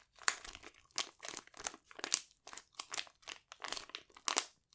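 A sealed, palm-sized silver metallic foil pouch with a sheet mask inside is held in both hands and crinkled and squeezed with fingertips and short nails. Bright, crisp crinkling and crunching comes in a quick run of short bursts with no low end, each stopping almost at once.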